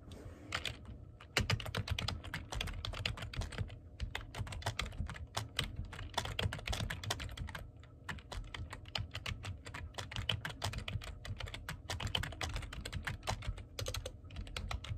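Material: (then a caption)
Plastic. Fingertips type fast and densely on the keys of a black plastic computer keyboard, producing a steady stream of overlapping clicks for the full clip. Each keystroke is a short, bright tap over a low, thumpy body around 105 Hz. Every tap dies away almost at once, with a few slightly louder strikes standing out near the start.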